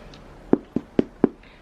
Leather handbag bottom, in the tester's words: this is obviously a lot harder